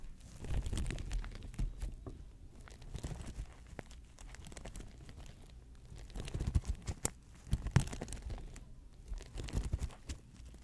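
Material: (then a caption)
Sequined fabric. Fingers with long nails scratch and rub an open folding hand fan with sequined fabric and a lace-patterned plastic frame, held in front of a microphone. It makes soft, steady crinkling and scratchy rustling with a low, muffled body, broken by sharp, bright ticks. The crinkling swells louder in bursts around the middle of the clip and again near the end.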